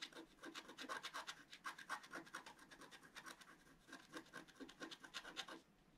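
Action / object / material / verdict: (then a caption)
scrape / coated paper scratch-art sheet scratched with a wooden stylus / coated paper / none. A wooden stylus tip scratches a flat, black-coated paper scratch-art card held flat by one hand, making a fast series of short, dry, bright rasping strokes. The scratching is quiet and steady with almost no low end, eases briefly in the middle, then picks up again before fading at the end.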